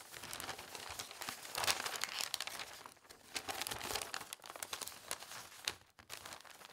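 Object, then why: Newspaper sheet. A thin newspaper sheet, folded flat on a table, is pressed, rubbed and creased along its folds by fingertips while glasses and cups are wrapped for packing. Dense, bright crinkling and crumpling runs throughout, with a few brief quieter dips.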